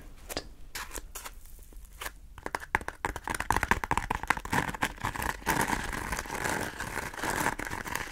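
Long nails scratch and squeeze the textured, ridged surface of a palm-sized yellow porous foam scrub sponge, solid and soft, held in both hands. Quick, dense crackling scratches and soft squishing crinkles start sparse and quiet, then grow louder and more continuous after about three seconds.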